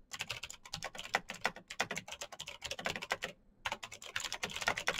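Fingertips of both hands type fast on a black, backlit Razer BlackWidow mechanical keyboard with plastic keycaps on clicky green switches. The result is a dense, rapid stream of sharp, bright clicks with almost no low end, broken by a brief pause near the end before the typing resumes.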